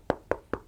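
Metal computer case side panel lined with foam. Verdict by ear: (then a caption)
Dampened. Three knocks on a PC case's thick, relatively heavy metal side panel lined with sound-dampening foam, heard as short, dull thuds centered in the low mids around 570 Hz. Each knock dies away almost at once with little ring, so the panel sounds deadened and quite different from a usual panel.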